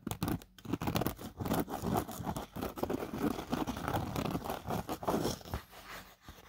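Fingertips and nails scratch and rub across a fine black nylon mesh pocket inside an open drone carry case, with a paper card behind it. The result is a dense run of close, dry, crunchy scratching strokes that swell and fade in quick bursts, with a papery, rasping texture and short pauses between passes.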